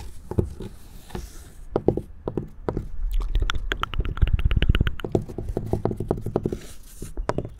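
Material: Wood.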